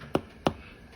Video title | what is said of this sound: Apocalypse Food Productions Presents: Baking Bread | if you tap on it sounds hollow and solid